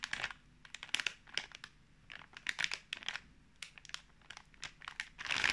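Fingertips tap, rub and crinkle the film surface of a full, sealed pink plastic snack pouch of fruit marshmallows held in the hands. The sound is a quiet run of dry, bright crackles and crinkles in quick irregular bursts with almost no low end, growing denser and louder at the end.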